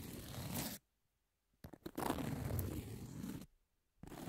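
Long nails scratch back and forth across the surface of a long, thin, flat, solid emery nail file with a pink edge. It makes dry, raspy scraping strokes, with a short burst, a few quick scrapes, then a longer sustained rub, separated by near-silent pauses.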